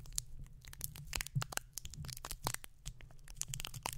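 Fingertips of both hands scratch and rub the bare, hollow, round metal mesh grille of a condenser microphone. The result is a dense stream of crisp, crackling clicks and rasping scrapes, bright and dry with no ring, centered around 3 kHz. A steady low rumble sits underneath.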